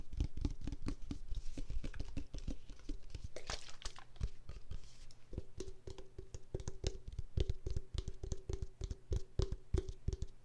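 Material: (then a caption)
Plastic. Long pink nails tap a pink translucent plastic body mist spray bottle, about 25 cm tall, with a gold spray cap and filled with pink liquid. The result is a rapid, uneven stream of short, dull, low taps with dry clicky edges and almost no ring, over a faint steady low hum.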